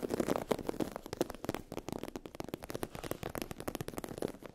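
Long acrylic nails scratch across a sheet of iridescent holographic vinyl/PU faux-leather fabric with a raised scale texture. The result is a dense, rapid crackle of short, dry scratching ticks, mostly midrange with a little high sizzle, each sound cut off almost instantly.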